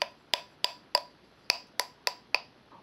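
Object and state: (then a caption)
Air-dry clay bell, dull and non-resonant. A bell made from air-dry, unfired clay, made to look like earthenware, is tapped eight times in an even rhythm. Each tap gives a short, bright click centered near 1 kHz that dies away almost at once. The bell is dull and does not ring, unlike a fired clay bell.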